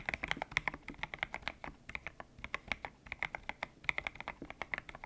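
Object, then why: Mechanical keyboard with PBT plastic keycaps. Fingertips type on a white-cased mechanical keyboard with grey and pink PBT plastic keycaps, its hollow case resting on a desk mat. Around 34 quick, dry keystrokes sound in an uneven typing rhythm, each a short, bright clack centered near 2 kHz with almost no ring and little low end.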